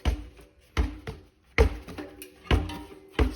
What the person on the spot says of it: when I bounce it like this, I could not just hear it sloshing, but I could actually sort of feel it sloshing too